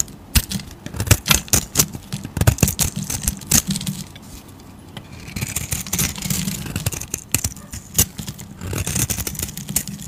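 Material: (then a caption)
Soap. A hand-sized solid pink bar of soap, held in the palm, is shaved with a flat metal razor blade, curling off thick flakes. The audio is a rapid series of short, dry scraping and crackling strokes with bright high-end hiss and a low rumble. The strokes cluster in bursts, and a quieter, smoother stretch of scraping sits in the middle.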